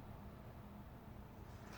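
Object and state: Nothing is struck.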